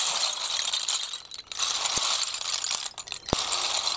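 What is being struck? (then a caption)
Snail shells on concrete. Both hands scoop and push a heap of small, hollow, empty snail shells across a concrete floor. The shells rattle against each other and the concrete in a dense, bright, crackly clatter with almost no low end, broken by brief lulls near 1.5 and 3 seconds and a few sharper clicks.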